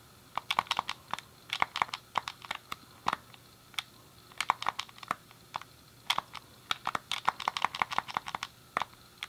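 A thumb clicks the D-pad and fingertips press the face buttons of a hand-sized, hollow grey plastic SNES game controller. A rapid, irregular run of sharp, dry plastic clicks is heard, each bright with a clear tone near 1 kHz and dying away instantly, over a quiet, steady background hiss.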